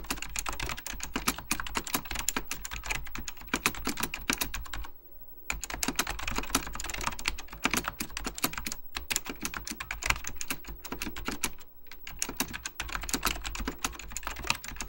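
Fingertips type rapidly on an Apple Extended Keyboard II, a plastic mechanical computer keyboard with beige plastic keycaps and a hollow plastic case. The result is a dense stream of short, bright key taps that stop for brief pauses near 5 and 12 seconds, over a steady low hum.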